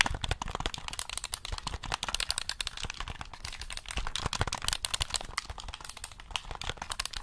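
Fingertips rapidly tap and click the buttons and shell of a black hollow plastic gamepad held in both hands. The result is a dense, continuous stream of short, dry, bright clicks and light knocks with a low hollow thump beneath and no lingering ring.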